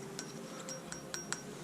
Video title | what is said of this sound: [TUTO] Comment changer sa Distribution sur Scénic 1.6 8s | Ça sonne bien le métal